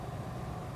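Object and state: Nothing is struck.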